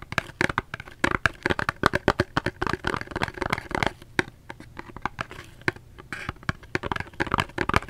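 Fingers tap a cardboard soap box in quick, irregular bursts. Each tap is short and dry with no ring, giving a papery, crinkly texture centered in the mid range. Brief quieter stretches separate the runs of taps.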